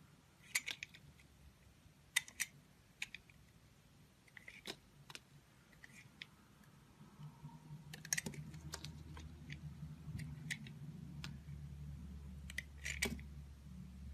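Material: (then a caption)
Soap. A box-cutter blade slices curled pieces from the surface of a solid purple lavender soap bar held in the hand. Sharp, bright scraping clicks come in short clusters over a quiet background, and a low steady rumble swells in the second half.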